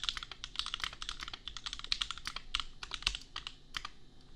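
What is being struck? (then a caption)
Mechanical keyboard with plastic keycaps. Fingertips of both hands type steadily on a $250 custom compact mechanical keyboard with red/pink plastic keycaps and Gateron Milky Yellow switches. The result is a rapid, continuous run of short, bright, clacky keystrokes that die away almost instantly over a faint low hum.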